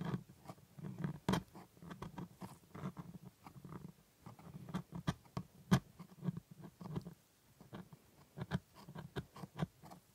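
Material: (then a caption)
Plastic. A gloved hand scrapes and picks at the white plastic teeth of a plastic jaw model with a metal scaler. Quiet, dry scraping is broken by many short, sharp ticks and clicks that stop quickly. The sound sits mostly in a low, muffled range with little brightness.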